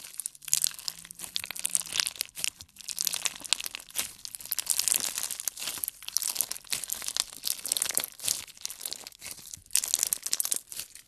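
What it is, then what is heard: Clear slime with beads. A solid handful of clear slime with colored beads is stretched and squeezed with both hands. The beads give off a dense, bright crunching and crackling that comes in quick overlapping bursts throughout.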